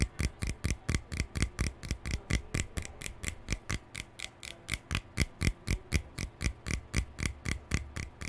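Fingertips and nails flick and scratch along the bristle rows of a hand-sized lilac plastic hairbrush with a hollow body and pale plastic bristles. About 35 quick, dry flicks come roughly twice per second, each a short bright tick over a dull low thump that dies away almost at once.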